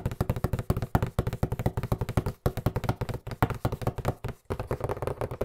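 Fingertips and nails tap rapidly on a hollow white cardboard box with black lettering held in both hands. The result is a fast, uneven stream of short, dull, low knocks that die away almost instantly, with faint clicky edges from the nails. The tapping pauses briefly at about 2.4 and 4.4 seconds.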